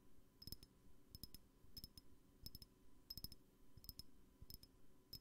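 A small glass perfume bottle, held sideways, is tapped with long painted nails along its glass body and cap. Quick clusters of light, crisp clicks repeat at a steady pace, each with a brief high glassy ping that dies away almost at once.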